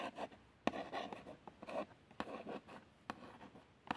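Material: Cardboard.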